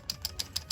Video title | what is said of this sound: They're cool but lacking - Glow in the Dark #stikbot Mega Monsters Unboxing and Review | mouths are already super loose. Like, they just don't close. And, like, I shake it and you can hear it.